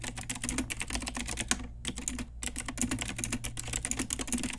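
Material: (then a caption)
Plastic. Continuous fast typing with long nails and fingertips on an Ajazz pink retro typewriter-style mechanical keyboard with round plastic keycaps. It produces a rapid stream of sharp, bright clicks and clacks over a low steady hum, with a brief pause near the middle.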